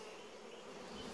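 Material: Nothing is struck.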